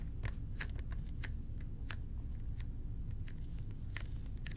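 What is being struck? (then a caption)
Plastic cleaner bottle. A hollow red plastic toilet cleaner bottle with an angled nozzle, held in both hands, is scratched and tapped with fingertips and short nails. Quick, dry clicks and scratches sound in an irregular pattern over a steady low rumble.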